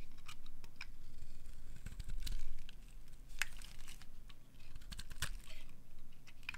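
A metal blade scrapes along the end of a solid, pale green bar of dry soap held in the hand, peeling off curls. Short, dry, bright scratching strokes sound over a steady low hum, each stopping sharply with almost no ring.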